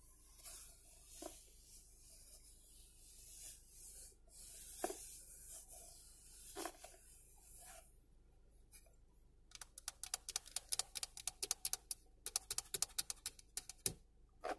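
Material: Plastic.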